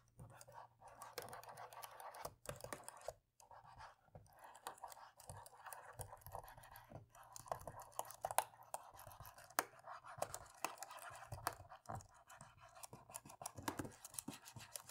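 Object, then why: Plastic laptop keyboard keys. A cotton swab scrubs the plastic keys along the right edge of a laptop keyboard. The result is a quiet, continuous scratchy rubbing broken by many small dry clicks and taps, with a few brief pauses.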